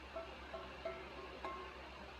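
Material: Steel.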